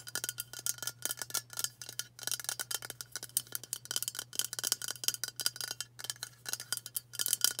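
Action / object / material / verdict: tap / aluminium aerosol can / aluminium / none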